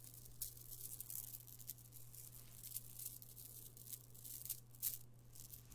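A strand of small purple amethyst stone chips from a chip bead necklace is lowered and piled into an open palm, then fingered. The chips clink and rattle against each other in quiet, bright, dense bursts, with a few sharper clicks. A steady low hum runs underneath throughout.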